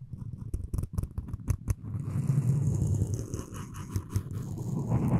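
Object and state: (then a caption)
Wooden spoon handle being scraped. Floss string is drawn around and across the handle of a solid wooden spoon. It starts as a run of sharp, dry ticks and snaps, then settles into a continuous low, rasping scratch with a faint bright hiss that swells near the end.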